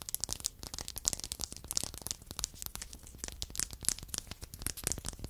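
Two identical small, solid, light-colored wooden blocks are held in the hand beside a foam microphone and tapped and scratched with long acrylic nails. The result is a dense stream of quick, dry clicks and scratchy rasps, bright and crisp in tone, with no ringing after each contact.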